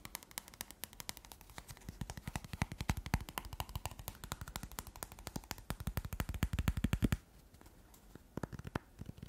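Fingertips and nails tap and flick fast along the edges of a solid stack of paper playing cards held between the fingers, with no box. A rapid, uneven stream of short, crisp taps with dull low thumps and bright ticks builds in intensity until about 7 seconds. After a brief near-silent pause, a few sparser taps follow.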